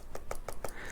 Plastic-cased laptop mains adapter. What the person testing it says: It's a completely different note when you tap it.